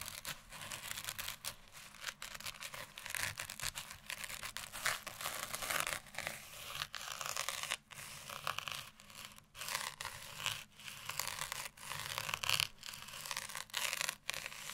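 Long nails and fingertips scratch a red felt Christmas stocking with a glittery surface and a Santa print. The result is bright, dry, crackling scratches in quick bursts, with brief quiet gaps between them.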